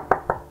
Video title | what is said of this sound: Slowing down the Supersonic Eater- SLOW FEEDER CHALLENGE - Slow feeding dog bowl and mat | pretty durable you can hear me knock on it there